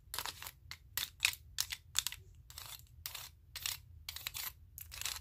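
A stack of wooden spring clothespins, with more clothespins clipped onto the fingers, is clicked and tapped against each other. The result is a quiet run of bright, dry clicking bursts in quick clusters, each dying away almost at once, over a faint low rumble.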